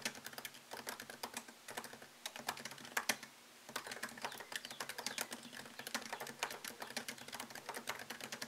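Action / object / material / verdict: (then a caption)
tap / laptop keyboard with plastic keys in an aluminium body / plastic / none. Fingertips type fast on a MacBook Pro laptop keyboard with plastic keycaps set in an aluminium body, producing a dense run of sharp, bright clicks and taps. A short pause just after three seconds breaks the typing, which then resumes. There is almost no low end, and each tap decays quickly.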